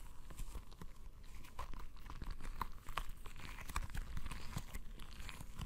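A palm-sized, soft, full, translucent rubber stress ball filled with colored gel beads is held in both hands, squeezed and rubbed with the fingertips. It gives a steady stream of sticky, crackling squelches and crinkly pops, weighted toward a low rumble, with faint brief tones near 1 kHz and no quiet gaps.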